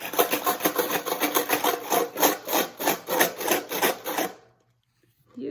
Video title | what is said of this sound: Toddler 2- guess the sound | a box has a lot of coins in it that's why it makes a sound